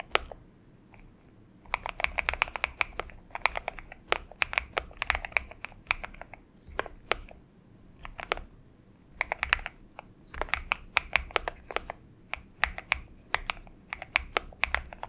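A purple-backlit Xinmeng M71 70% mechanical keyboard with an aluminum case and PBT keycaps rests on a desk mat while the fingertips of both hands type on it in bursts. The keystrokes make sharp, bright clicks with almost no ring, separated by brief pauses.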